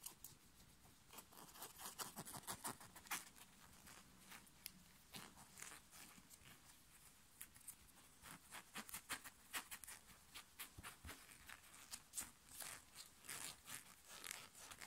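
Fingers and nails scratch and pinch a black short-sleeve knit fabric t-shirt worn on the body, working at the chest. Quick, irregular bursts of bright, dry rasping and scuffing follow one another at a fast pace. Each burst stops short, over a quiet background.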